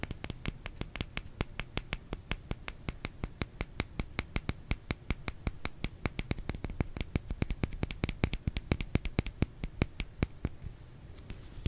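A bar of soap is tapped about 66 times in quick, steady succession, each tap a short, dry click with a low thump underneath and a bright top edge that dies away at once. The tapping grows a little louder toward the middle and thins out near the end.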